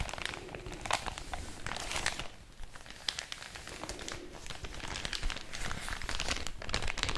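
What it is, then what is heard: Paper bag being crinkled. An empty thin white paper packaging bag is held in one hand and crinkled and rubbed with fingertips and long orange nails. Dense, bright crinkling and crackling rustles come in rapid, overlapping bursts over a steady low rumble, with no ringing after each touch.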